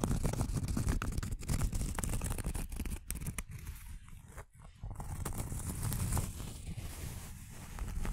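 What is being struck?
Cork coaster.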